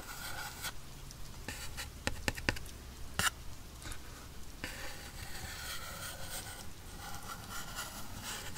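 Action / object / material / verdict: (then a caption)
scrape / small cardboard box scratched with a wooden pencil tip / cardboard / none. A wooden pencil tip scratches and taps across the printed top of a small, hollow black cardboard headphone retail box, its lid on, held steady by hand. Quiet, dry scraping runs throughout, broken by a few sharp, brighter taps in the middle that die away almost instantly.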